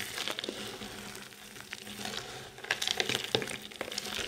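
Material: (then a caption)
Soap. Bare hands squeeze, crush and rub a heap of small, solid, multicoloured dry soap chips and crumbs on a white surface. A steady, bright, dry crinkling and crunching is heard, with sharper crackles bursting out in the second half as the crumbs break apart.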